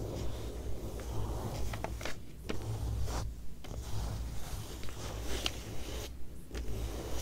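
Long nails lightly tap and trace across the thin page of an open glossy paper magazine, resting on the same text spread. Soft, short taps and brief papery scratches come at an uneven pace over a steady low hum.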